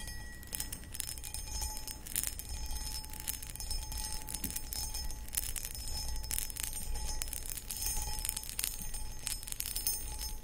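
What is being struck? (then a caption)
Cut crystal glass pedestal bowl. Long acrylic nails scratch the textured sides of a medium, hollow, empty cut crystal footed pedestal bowl. Quick, bright scratches and taps with thin high glassy ringing follow one another in an uneven, nearly continuous stream, over a low, steady rumble.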